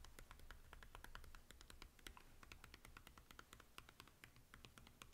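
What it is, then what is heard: Plastic DVD case tapped with fingertips. A Scooby-Doo DVD in a hollow plastic keep case is held upright and tapped on the front with the fingertips, while other DVDs lie untouched on the table. A rapid, steady run of light, dry, bright clicks dies away almost instantly, over a constant low hum.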